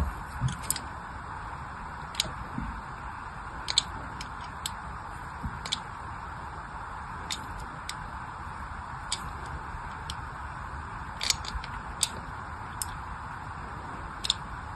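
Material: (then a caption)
Soap. A small blade shaves thin lines into one end of a solid pink glycerin soap bar held in the hand. Each cut makes a short, crisp, bright scratching tick that stops almost at once, in a spaced series over a steady soft hiss.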